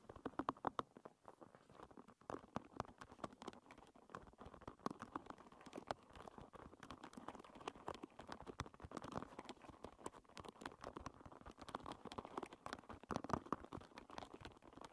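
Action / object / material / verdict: flick / wooden pin hairbrush / wood / none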